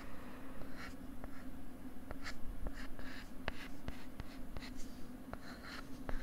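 A pink plastic stylus writes on a flat pink plastic LCD writing tablet held close to the mic, making soft scratching strokes. Brief sharp ticks from the stylus tip punctuate the strokes. A steady low hum sits underneath throughout.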